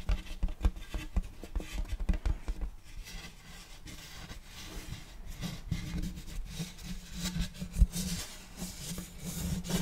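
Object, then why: Round wooden serving tray. A large, flat, round wooden serving tray with a checkerboard block pattern, solid and empty, is tapped and rubbed with fingertips and nails on its face and rim. A quick run of dull, low knocks opens the clip, then gives way to a steady, soft scratching rasp with scattered taps returning toward the end. Each tap dies away almost instantly.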